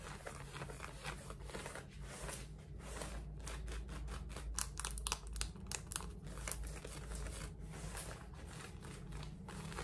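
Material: Denim.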